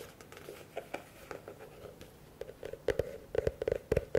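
A medium, hollow, empty blue plastic bucket is held upside down and tapped quickly with fingertips and nails on its base and walls. The taps are short, dry and hollow, with a tone near 480 Hz, and come at an uneven pace. They start soft and grow louder and sharper toward the end.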